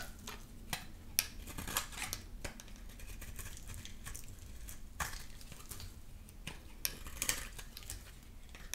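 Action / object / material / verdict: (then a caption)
scrape / soap bar cut with a blade / soap / none. A solid, dry amber soap bar held in the hand is shaved and cut with a utility knife blade. Quiet, continuous scraping is broken by short, bright, crisp snaps as the blade cuts through, over a low, steady background rumble.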